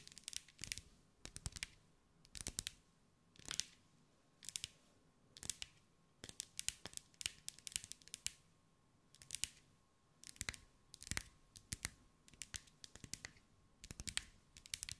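A hand-held glass mosaic ball, about 15 cm across and covered in small green glass mosaic pieces, is tapped with long acrylic nails. Quick bursts of sharp, bright clicking taps come in clusters, separated by brief quiet gaps, each tick dry and with almost no ring.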